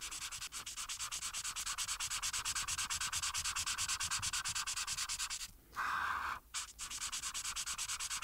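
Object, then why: Marker tip on a paper sheet over a board. A marker tip held in the hand is rubbed in rapid, repeated strokes across a thin printed paper coloring page lying flat on a solid board. The strokes make a steady, bright, scratchy rasp at about three per second. Just before the six-second mark there is a brief quiet gap, then one longer, smoother rub before the quick strokes resume.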